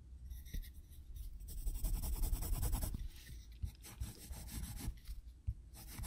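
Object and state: Pencil hatching on sketchbook paper.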